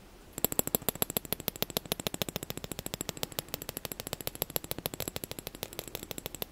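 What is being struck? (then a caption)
Small plastic spoon. A small, solid, light-blue plastic spoon held in the hand has its bowl and handle tapped and scratched with fingertips and short nails. About 67 quick, dry clicks follow one another in a fast, slightly uneven run, each dying away almost instantly with a bright, high edge.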